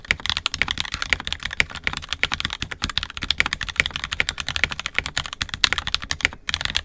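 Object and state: Plastic mechanical keyboard.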